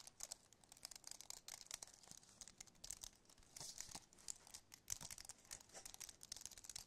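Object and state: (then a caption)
Aluminum and plastic wireless keyboard. Fingertips and nails tap the keys of a compact white aluminum and plastic wireless keyboard, first in close-up and then held up tilted. The result is a quiet, rapid, irregular stream of dry, bright clicks and crinkly ticks with very little low end. Each tap dies away almost instantly.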